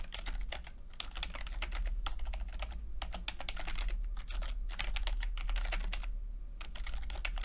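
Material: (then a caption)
Plastic. Fingertips of both hands type rapidly on a low-profile plastic keyboard with red and purple backlit chiclet keys, whose flat, mostly hollow keycaps sit over switches. A fast, continuous stream of short, bright plastic clicks and taps runs throughout with no pauses, over a steady low hum.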